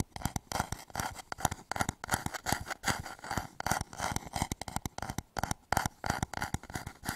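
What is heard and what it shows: Fingertips and short nails tap and scratch the outer surface of a medium turned wooden bowl, hollow and empty, held upside down over the microphone. Quick, irregular hollow wooden knocks with a soft low thump and a woody mid tone alternate with dry, bright scratching. Each tap dies away almost instantly.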